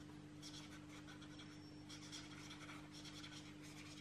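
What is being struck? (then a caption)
Felt-tip marker stroked on a paper book page. A felt-tip marker is stroked repeatedly across the page of an open paperback art deco coloring book on a table, filling in flowers and shapes while the other hand rests on the page. Soft, bright scratchy rubbing comes in quick bursts of strokes over a steady low hum, at a quiet, even level throughout.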